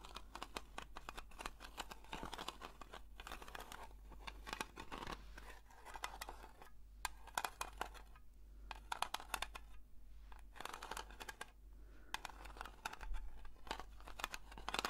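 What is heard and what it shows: Long red nails slowly scratch the printed lid of a small, round blue metal Nivea cream tin, likely filled. The clip is a quiet, steady stream of fine, dry scratching strokes, with brief bright clicks and rasps.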